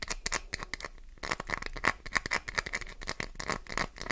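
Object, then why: Glycerin soap bar. Fingernails dig into and scratch across the surface of a solid, green translucent glycerin soap bar, sending flakes falling. Quick, crisp scratching strokes come one after another, with a dry, bright crackle and a faint ringing tone near 1.8 kHz. Each stroke cuts off almost instantly, with a brief quieter gap about a second in.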